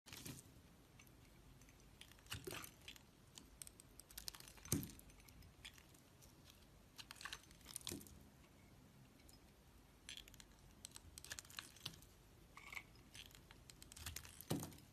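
A metal utility-knife blade scrapes and shaves thin flakes off a solid block of red bar soap held in a hand with long, light-colored nails. Quiet, dry scratching and carving strokes come in irregular bursts, with a few louder crisp, bright scrapes standing out against a low, steady background.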